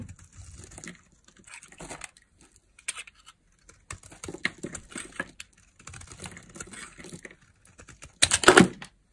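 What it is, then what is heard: Glycerin soap bar being carved. A palm-sized, solid translucent green glycerin soap bar is held in one hand while its edge is shaved into curls with a metal blade. Soft, dry scraping and cutting sounds come in short bursts with brief pauses. The clip ends with a louder, brighter stretch of scraping.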